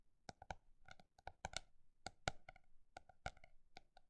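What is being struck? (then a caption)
Hardcover notebook with embossed cover. Long black nails tap quickly across the textured, embossed surface of a hardcover notebook held upright. The result is a fast, uneven run of crisp, dry clicks, each dying away almost at once, with a faint hollow tone around 750 Hz.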